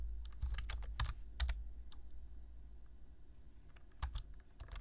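Both hands type on a black plastic computer keyboard, fingertips tapping the keys. Quick bright clicks come in irregular bursts over a low, steady rumble, with a quieter lull in the middle before the typing picks up again.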